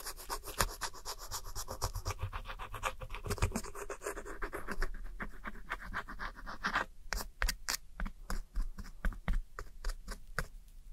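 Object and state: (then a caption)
Pressed eyeshadow powder scraped with a metal pick. A metal pick scratches and rubs the crumbled blue, beige and brown powder of a pressed eyeshadow palette in a round plastic compact, held steady by one hand. For the first seven seconds a dense, rapid stream of dry, gritty scratches runs together. After that it breaks into sparser, separate short strokes with quiet gaps between them.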